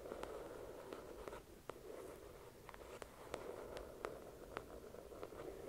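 Long acrylic nails scratch and tap the cover of a thick paperback novel resting on a white cloth. A soft, continuous mid-range scratching hiss runs throughout, punctuated by eleven brief, bright taps that die away almost instantly. The overall level stays quiet.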